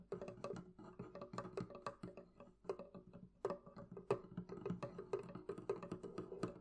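Fingers tap steadily on the wooden surface of a wooden barrel chest, producing a quick series of short, hollow knocks. Each knock carries a muted tone around 400 Hz and dies away almost at once, with a few sharper accented taps standing out.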